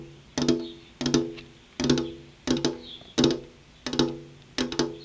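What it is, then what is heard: Glass window pane. Long purple-painted fingernail tips tap a large, solid, flat glass window pane in seven evenly spaced bursts, each a quick double or triple tap. Every tap gives a sharp, bright click over a short hollow ring near 250 Hz that fades in a fraction of a second.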